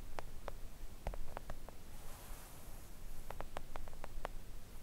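Long acrylic nails on both hands gently tap a flat, thin, solid pink silicone nail art mat lying on a table. Soft, quick clicking taps come in small clusters with a brief pause in the middle, each tick dying away almost instantly over a low, steady rumble.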